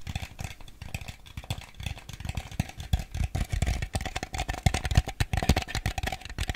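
A small ribbed white plastic bowl, hollow and empty, is tapped and scratched with fingernails on its bottom and sides. The result is a dense run of quick, dry, hollow taps with a low body, plus scratchy rattling that keeps going, and each tap dies out almost at once.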